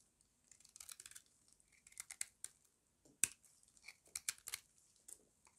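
A small metal blade scrapes crunchy flakes off the edge of a solid square bar of dry white soap held in the hand. Quiet, bright crackling scrapes come in irregular bursts, mostly high-pitched and crisp with almost no low end.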